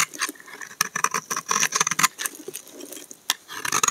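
A solid tan brown laundry soap bar is scraped with a utility knife blade, with shavings piling up. It makes a rapid series of short, dry, crisp scratches and crackles, bright and high with almost no low end, each dying away instantly.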